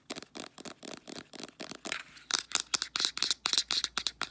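Long nails tap and scratch quickly along the body and white plastic flip cap of a full-looking Clearasil 150 ml plastic squeeze tube of face wash. The result is a rapid, slightly uneven series of short, dry, bright clicks with brief scratchy rasps between them, with almost no low end and no ring after each tap.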